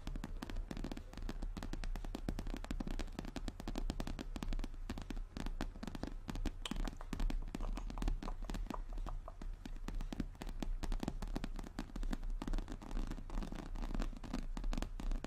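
Long nails on both hands rapidly tap and lightly scratch a medium, hollow, brown glossy croc-embossed leather handbag. The result is a dense, continuous stream of quick, crackly taps with a deep, low-heavy thud and very little brightness. Each tap dies away almost instantly.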